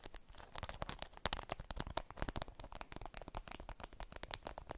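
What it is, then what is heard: Beeswax-coated fabric wrap being crumpled. A stiff beeswax-coated cotton wrap is held and crumpled in the hands, with nails and fingers crinkling the waxed fabric. The result is a dense run of sharp, crackly crinkles and scratchy snaps over a low rumble, steady throughout with brighter spikes along the way.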